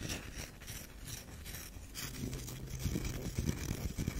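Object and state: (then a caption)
Bar soap scratched. A solid tan bar of soap is turned on its edge while long nails scratch along its grooved side. The result is a soft, dry, continuous scraping with faint rubbing, low-heavy in tone with brighter scratchy texture. It grows a little louder and more pronounced toward the end.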